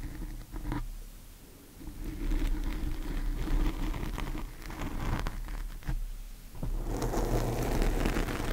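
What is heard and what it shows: Long painted fingernails of both hands scratch a large, soft, porous black foam windscreen over a microphone. The result is a dense, muffled rumble of low, boomy scraping and rustling, broken by brief sharper scratches, swelling louder toward the end.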